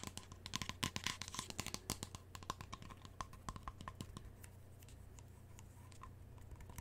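A medium, hollow white-and-orange plastic lotion bottle held in the hands is tapped and scratched with long nails. Quick, crisp clicking taps mix with scratchy rustling over a steady low hum. The taps are dense and louder in the first half, then thin out into softer scratching.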